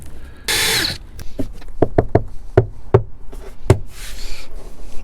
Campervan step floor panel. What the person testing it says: that sounds hollow to me